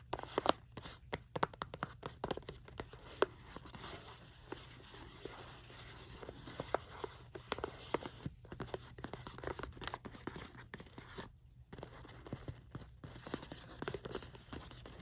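Long fingernails scratch and tap the flat printed side of a small green printed cardboard Santa gift box resting on a rug. Quiet dry scraping runs throughout, broken by many sharp, short-lived taps with almost no ring.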